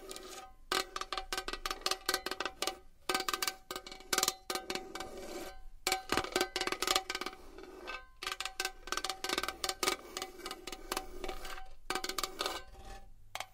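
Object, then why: Metal box. A metal box is tapped and scratched with long nails, producing rapid, bright metallic clicks and taps in clustered bursts. The taps ring only briefly, with a high, tinny tone over a steady scratchy texture.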